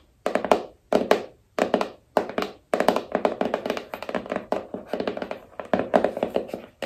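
Long nails tap the sides and edges of a small, hollow black cardboard iPhone box. It makes quick bursts of dry, hollow clicking taps with a midrange body around 600 Hz and almost no ring. Short pauses separate the bursts at first, then the tapping runs on almost without a break.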